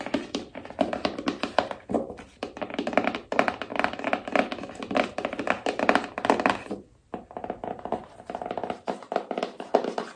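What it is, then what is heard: Cardboard phone box. Long nails tap rapidly on a small rigid cardboard iPhone box, striking both the back label side and the long narrow side. The steady flurry of light, dry clicks has a hollow midrange tone around 670 Hz, and each tap dies away almost instantly. The tapping pauses briefly near the seven-second mark before resuming.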